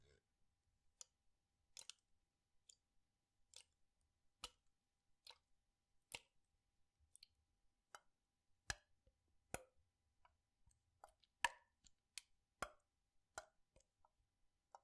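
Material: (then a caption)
Plastic. A clear PET water bottle with a light blue cap, partly filled with water, is held in one hand and tilted and shaken. It makes quiet, short, dry clicks and light plops at irregular intervals, each bright and dying away almost instantly with little low end.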